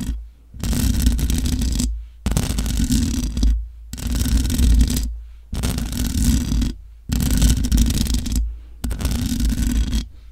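Long nails scratch the hollow metal mesh grille of a large black microphone in six separate bursts of about a second and a half each, divided by brief silences. Each burst is a dense, raspy scraping with a heavy low rumble underneath and a thin bright hiss on top.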